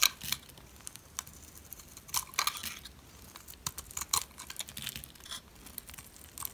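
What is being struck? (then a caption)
Bar of soap shaved with a metal blade. A metal utility blade shaves a solid, dry, oval white soap bar with an embossed logo. It makes a run of crisp, dry scraping and crumbling strokes in short, bright bursts with almost no low end. Each stroke stops quickly against a quiet background.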